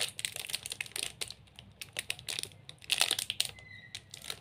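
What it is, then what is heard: Chocolate bar in plastic wrapper. Fingertips and nails scratch and squeeze the glossy plastic wrapper of a large, solid, sealed 45 g Snickers chocolate bar held in both hands. Quick, bright crinkles and crisp tapping clicks come in irregular bursts with almost no low end, and a faint thin high tone briefly appears near the end.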